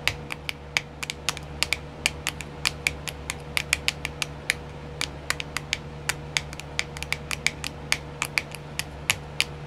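Long nails tap quickly on a small, round, clear plastic nail art wheel with filled compartments, producing a rapid stream of sharp, bright plastic clicks. Each click is short and dry, with no ring after it. A steady low hum and a faint tone sit underneath.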